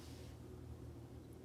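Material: Nothing is struck.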